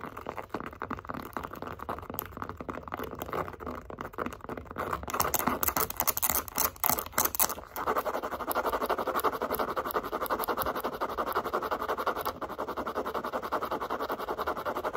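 Long acrylic nails rapidly tap and scratch a light-blue pebbled leather zip wallet held in both hands. Dry, crisp clicks and scuffs start fairly sparse, grow into louder, brighter bursts midway, then settle into a steady, dense scratching with a papery midrange texture for the rest of the clip.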